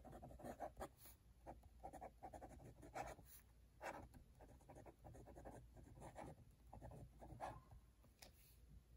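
A metal-nib dip pen scratches across an open cream paper notebook page decorated with red wax seals, writing cursive lines. Quiet, dry scratching strokes come in quick uneven bursts with a papery midrange rasp, over a faint low steady hum.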